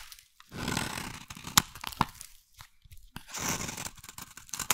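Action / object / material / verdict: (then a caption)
scrape / solid bar soap scraped with a metal blade / soap / none. A metal blade scrapes a solid, hand-sized bar of brown soap into flakes, making dry, crunchy tearing strokes with bright hiss. Short sharp clicks punctuate the scraping between two longer shaving passes.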